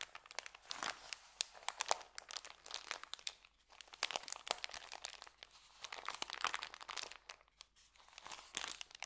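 A rolled white paper sandwich bag is held in both hands while fingers squeeze and twist it. Dense, quiet crinkling and crackling comes in bursts with sharp snaps, bright and crisp with almost no low end.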